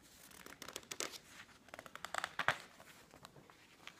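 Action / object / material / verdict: scrape / glossy paper magazine / paper / none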